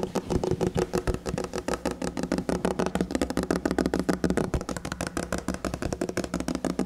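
Fingernails and fingertips rapidly tap and scratch the drawer fronts of a large red, glossy painted minibar cabinet, likely MDF, whose solid-looking panels cover hollow drawers, recorded up close. The quick, uneven stream of dry, short clicks and scrapes has a hollow, low-mid knock under each tap.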